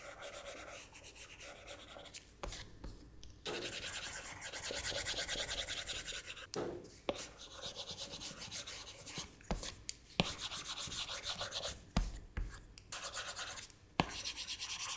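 A hard plastic Apple Pencil nib rubs and taps across the flat glass touchscreen of an iPad lying on a desk in repeated drawing strokes. Steady bright, scratchy rubbing fills the clip, broken by short pauses and crisp, quickly fading taps.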